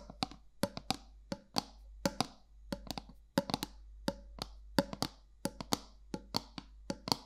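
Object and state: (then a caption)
Metal candle jar lid. Long nails tap the flat top of a round gold metal lid on a black candle jar in an irregular run of 27 quick, separate taps. Each tap is a short, bright click with a faint metallic tone around 560 Hz that dies almost at once over a quiet background.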